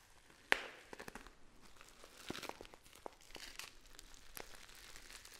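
A hand-sized, apparently filled Dammann Frères tea pouch of black and red metallic foil, with a gold top seal and paper label, is held and squeezed with long nails and fingertips. It opens with one sharp, bright crackle, then continues with softer crinkling, rustling and light nail clicks on the foil.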